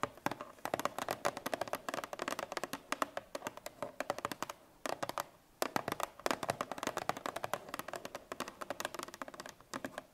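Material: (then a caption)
Cardboard. Long nails tap rapidly on the top surface of a Parmalat 1 L cardboard milk carton lying on its side. The result is a dense stream of sharp, dry clicks with almost no ring, with a brief pause near the middle before the quick tapping resumes.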